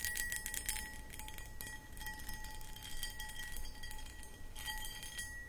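Long acrylic nails tap and scratch across a medium-sized, empty, hollow clear cut glass pedestal bowl held in both hands. Bright clicks and scraping ticks rise over a steady glassy ring near 1.9 kHz with a fainter tone below 1 kHz, while a low rumble sits underneath throughout.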